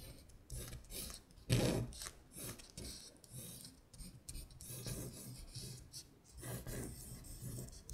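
A long acrylic nail traces the handwritten words "WINTER BEAR" on a thin printed paper sheet that has been shifted on a table. It scratches the paper in a series of rasping strokes, bright scratchy hiss over a low rumble, with the loudest scrape near the middle.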